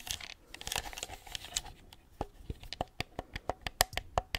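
A white hard-plastic gamepad with pink buttons and a hollow handheld shell is held close to the mic and scratched and tapped with long acrylic nails. The first half is a dense, crinkly scratching. It then turns into a run of separate sharp, dry clicks that ring briefly with a hollow plastic tone near 730 Hz and bright upper edges.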